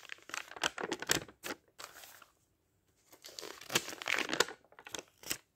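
Fingertips of a ringed hand flip and brush the thin printed pages of a thick paperback dictionary lying open, in a page-turning motion. Quick, bright, crinkly paper rustles and flicks come in bursts, with a brief silent pause in the middle before the rustling resumes.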